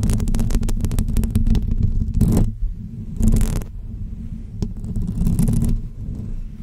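Long almond-shaped fake press-on nails on both hands scratch the hollow woven metal dome grille of a pink microphone. The result is a close, muffled, low rumbling scrape, with a dense, rapid burst of scratching at first. Quieter strokes follow, broken by brief, brighter swells of scraping.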